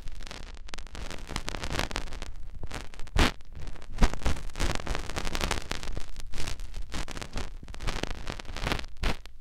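Fingertips rub the outer folds of a soft silicone ear on a white binaural microphone. Close, continuous rustling and scratchy friction rise and fall in dense bursts, with a heavy low rumble beneath brighter crackling swishes.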